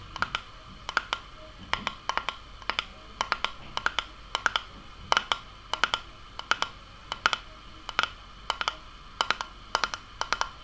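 Long painted nails tap and scratch a medium glass sauce jar, mostly empty with sauce residue, and its red metal screw lid, striking both the glass and the lid. The result is steady clusters of sharp, bright clicks in quick pairs and triplets, each with a brief glassy ring around 900 Hz and 1.3 kHz that dies almost at once. Faint scratching fills the gaps between clusters.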